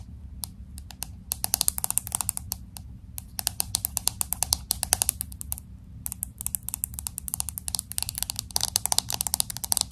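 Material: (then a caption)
Glass. Long acrylic nails tap quickly on the glass back of a pink smartphone with an aluminum frame, held horizontally. Sharp, bright, dry clicks come in rapid bursts, with brief pauses near three and six seconds. A low, steady hum runs underneath.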